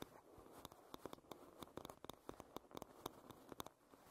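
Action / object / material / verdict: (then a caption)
tap / wooden paddle hairbrush / wood / none. Long red nails tap and scratch along the wooden back and edge of a light-wood paddle hairbrush. Quick, dry clicks with no ring sound over a soft, grainy scratching texture in an uneven pattern.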